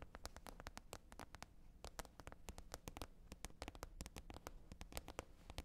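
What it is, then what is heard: Plastic container lid. Long red nails tap quickly across the top of a flat green plastic container lid. Dozens of crisp, dry clicks with bright tops and almost no ring sit over a soft low rumble at a quiet level.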